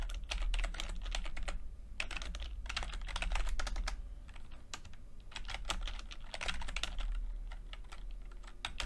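Fingertips of both hands type continuously on a full-size plastic computer keyboard with red and blue backlit keys and low-profile keycaps. Quick, bright key taps come in uneven bursts over a steady low hum. The typing rises and falls in density and loudness throughout.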